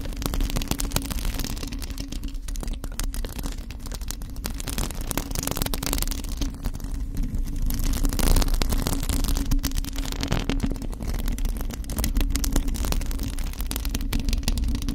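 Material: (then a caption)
Metal mesh. Long acrylic nails scratch a hollow, bare black metal mesh microphone grille, with both hands on it. The result is a continuous, dense scratching noise with a heavy low rumble and a faint steady low hum, holding an even level throughout.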